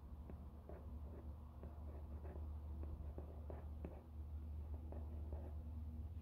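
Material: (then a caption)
Cardboard. Long painted fingernails tap and scratch the face and edges of a small, flat, rigid black cardboard product box for a Ridge wallet, unwrapped and apparently closed with its contents inside, held in both hands. Short, dry clicking taps and soft scratching sit over a steady low hum, and the whole clip stays quiet.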